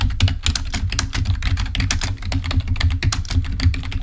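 Fingertips of both hands type rapidly on a full-size black plastic Microsoft keyboard resting on a table. The result is a steady stream of short, dry key taps with a heavy low thump and bright click edges, each dying away almost instantly.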